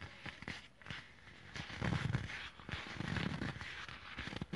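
A small dark leather bag with a yellow Mibia logo is held close and squeezed, crinkled and scratched with short nails and fingertips. The result is a steady run of soft crackling, rustling and scratchy taps, with a low, full body and a brighter scratchy edge.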